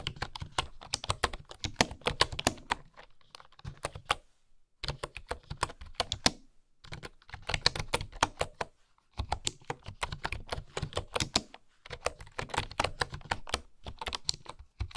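Fingertips with long manicured nails type rapidly on a full-size bamboo wooden keyboard with wooden keycaps and a hollow housing, resting on a wooden table. The keys give dense bursts of crisp, short taps with a hollow low knock and a bright clatter, separated by brief pauses.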